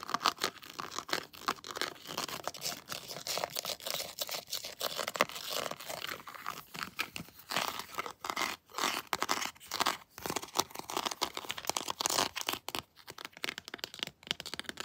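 Long blue nails tap and scratch a detailed hard plastic Predator action figure, working over its textured head and armor. Dense, crisp scratching and rapid clicky taps fill the clip, bright and thin with almost no low end. Each tap dies away almost instantly.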